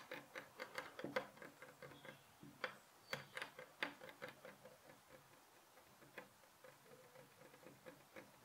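Fingertips and short nails tap repeatedly on a solid light pine-look wooden bed headboard rail beside a white pillow. The result is a quiet string of short, dry, clock-like ticks that each fade almost at once, with a woody knock around the midrange and a bright click on top.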